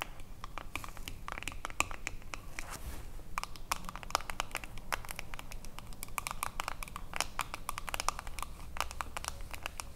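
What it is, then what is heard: Metal jar lid. Long acrylic nails tap and scratch the ridged edge of a silver metal screw lid on a small, full glass cream jar. The result is a dense run of quick, dry clicks and scrapes with almost no ring, bright and centered around 1.2 kHz, over a low background rumble.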